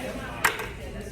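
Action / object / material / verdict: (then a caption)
tap / baked cornmeal corn stick / baked cornmeal / hard. A baked cornmeal corn stick, rock hard like day-old bread because baked cornmeal hardens, is knocked once. It gives a single sharp, bright click over a background of low room noise and murmur.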